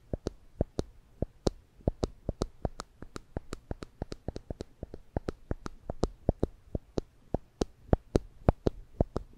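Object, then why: Plastic spring clamp. A small yellow and black plastic spring clamp with rubber tips and hollow handles is held in one hand above a microphone, its handles squeezed and released repeatedly to snap the jaws open and shut. The result is a steady, slightly uneven train of short, dry clicks, each with a soft low thump and a bright snap that dies away almost instantly over a quiet background.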